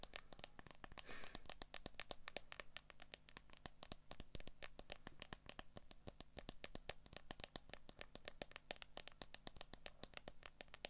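Long acrylic nails tap rapidly and scratch across the back and camera area of a handheld smartphone in a clear plastic case with a cable plugged in. Dozens of sharp, bright clicks follow one another with almost no ring, and a brief rasping scratch comes early on. A faint steady low hum sits underneath throughout.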